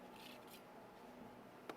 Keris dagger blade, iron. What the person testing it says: Ini contoh yang lama nih. ... Bunyinya pas cepat gitu.